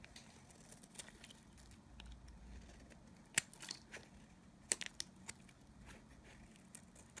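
A knife blade scrapes thin curls from a solid, dry bar of Nevskaya Kosmetika soap held in the hand. Quiet, dry scraping runs throughout, broken by short, bright, crisp cuts, with the sharpest snaps clustered near the middle of the clip.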